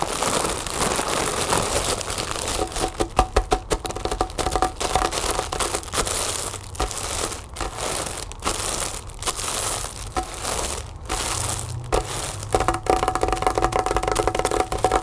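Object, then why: Mylar foil balloon. A large, hollow, inflated Happy Birthday mylar foil balloon lies on a table while long nails tap and scratch the crinkly foil. The result is a steady stream of fast, irregular taps and crinkling scrapes with a faint ringing tone around 750 Hz.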